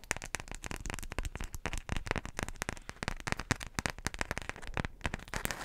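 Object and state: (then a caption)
Beeswax wrap (waxed cotton) being crinkled. A single floral beeswax wrap, a flat folded sheet of wax-coated cotton fabric, is held in front of the microphone and flexed and crinkled with fingertips and long nails. Dense, rapid crackles and sharp crinkling snaps follow one another with almost no ring, spreading from a low thump up to a bright, papery edge.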